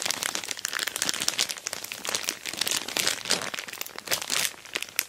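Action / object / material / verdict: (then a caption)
scrape / plastic mailer bag over a cardboard box / plastic / none. Long black nails tap and scratch on an orange glossy plastic shipping bag wrapped over a boxed dual-camera dash cam while fingertips rub the plastic. The result is a dense, continuous run of bright, crisp crinkling and ticking with almost no low end.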